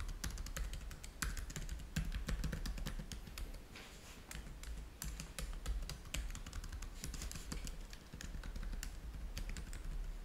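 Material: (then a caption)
Plastic. Fingertips of both hands type fast on a black plastic laptop keyboard, producing a dense run of short, bright key clicks. The clicks sit over a steady low hum, and a brief quieter stretch falls near the middle.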